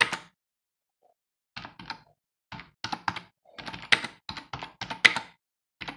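Bare fingertips of both hands type on a hollow, full-size black plastic computer keyboard resting on a wooden desk. Short, bright plastic key clicks come in irregular bursts and quick runs separated by brief pauses. Each tap stops dead with almost no ring and little low end.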